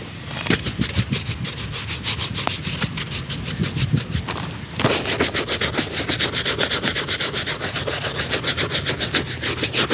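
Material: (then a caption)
Leather. A street cobbler working outdoors on a tarp briskly brushes and rubs a single hollow, empty black leather formal shoe, holding the shoe in one hand and a shoe brush in the other. Quick, steady bristle strokes make a bright, scratchy swishing at about three to four strokes per second, with a light low thump under each. The strokes dip briefly just before the five-second mark, then return louder and more even to the end.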